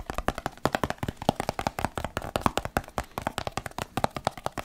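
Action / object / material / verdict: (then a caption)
scrape / plastic supplement tub / plastic / none. Fingertips and nails rub and scratch the side of a medium-sized, hollow white plastic supplement tub with a label, held in one hand. The result is a quick, uneven run of dry, clicky taps and scratches with a hollow body around 240 Hz, each dying away almost at once.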